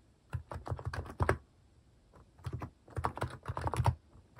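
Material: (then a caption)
Plastic. Fingertips type on a compact Hanmumu mechanical keyboard with a white plastic case and cat keycaps. Two bursts of quick, deep clacky keystrokes are separated by a short pause, each stroke sharp and dying away almost at once.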